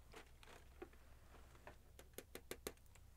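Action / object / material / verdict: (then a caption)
tap / thin metal cookie tin lid tapped with fingernails / metal / none. Long painted nails tap and scratch the lid of a large, round blue Royal Dansk butter cookie tin made of thin, hollow metal. Soft scratchy patter gives way to sharper, bright clicking taps with a brief tinny ring that cuts off almost at once. A steady low hum sits underneath the quiet sounds.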